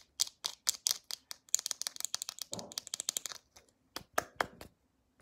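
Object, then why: Plastic squeeze tube with cap. Long acrylic nails tap the round cap and body of a white plastic lotion squeeze tube held upright, making a quick run of sharp, bright, dry clicks with almost no ring. Partway through, the tube is squeezed, giving a brief, fuller crinkling sound before the tapping resumes in a few louder, spaced taps.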